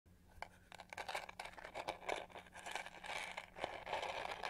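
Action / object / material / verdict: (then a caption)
scrape / textured plastic hair brush / plastic / none. Long painted fingernails scratch the raised pyramid pattern on the hollow back shell of a hand-sized pink-to-gold plastic detangling hair brush. The result is a dense run of quick, dry, crackly scrapes and clicks with a bright edge and almost no ring, over a faint steady low hum.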